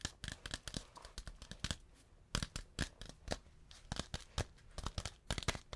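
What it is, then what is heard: Beeswax food wrap. Fingertips tap and crinkle a thin, flat, stiff sheet of yellow beeswax-coated cotton fabric held in front of the microphone. The result is an irregular series of sharp, dry, crackling taps that reach from a low thump into bright highs, each cut off almost at once, with quiet rustling between them.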